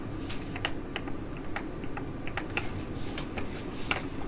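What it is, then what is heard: Foil sheet mask pouch. A filled tea-tree Korean foil sheet mask pouch is crinkled and scratched with long nails, ending flat on a table while being scratched. Quiet, irregular, sharp crinkly ticks and scrapes, bright around 2.7 kHz, sound over a steady low rumble, each decaying quickly.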